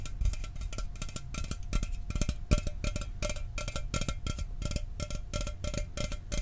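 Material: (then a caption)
Aluminum. A sealed, hollow 12 oz Mountain Dew aluminum soda can is held up and tapped quickly with fingernails. The clip is a steady run of short, dry clicks with a thin metallic ring and a steady tone near 700 Hz, over a strong low-end thump.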